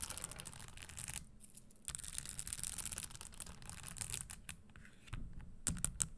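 Long nails rapidly scratch and tap along the spiked upper of an empty red spike-studded leather Christian Louboutin stiletto pump standing on a wooden table. The result is a quiet, dense stream of bright, crisp clicks and scratchy rasps over a low rumble, with brief lulls before the tapping picks back up.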